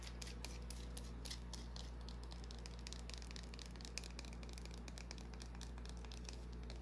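Long nails scratch a small, solid white bar of soap held in the palm. Quiet, dense, bright scratchy ticks and crackles run continuously over a steady low hum, with a few slightly louder clicks near the start.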